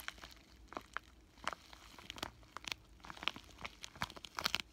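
A flat pink bubble-wrap plastic zipper pouch with a paper insert is held in both hands and crinkled and squeezed with fingertips and short nails. The result is a quiet, steady stream of sharp, bright crinkles and crackles that snap off quickly. Louder pops cluster toward the end.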